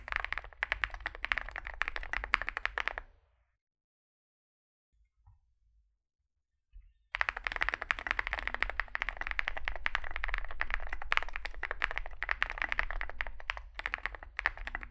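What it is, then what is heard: Mechanical keyboard with plastic keycaps. Fingertips of both hands type fast on a small Zoom65 65% mechanical keyboard with a dark case and white and grey sculpted plastic keycaps, resting on a desk mat. A dense stream of short clacks with a low thump and a bright click runs for about three seconds, drops to near silence broken by a couple of faint ticks, then resumes steadily until the end.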